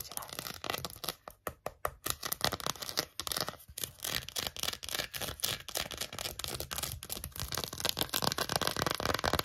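Long acrylic nails rapidly tap and scratch a small, empty, hollow green silicone phone case. The result is a dense stream of quick, bright clicks and rasping scratches that rarely pause, growing busier and slightly louder toward the end.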